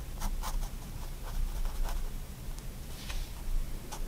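A fine 0.1 mm pigment liner pen tip makes short contour strokes on a white paper sketchbook sheet. Each stroke gives a soft, brief, bright scratch over a steady low hum that dominates the quiet background.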